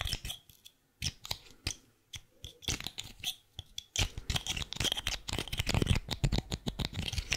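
Long painted fingernails tap and scratch a small white plastic highlighter with a yellow-green band, held in both hands. Sparse, dry clicks and short scrapes come first, then from about four seconds the tapping and scratching turn dense, fast and louder. The crisp, bright surface noise sits over soft low knocks.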